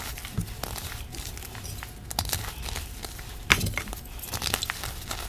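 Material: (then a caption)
Chalk. A hand with long black nails crushes and rubs a piece of a broken white gym chalk (magnesium carbonate) reform slab, which lies in chunks on a dark surface, grinding the solid, crumbly block into powder. The result is a steady stream of gritty, crinkly crunches and bright crackles, with a few sharper snaps standing out over a soft, low rumble.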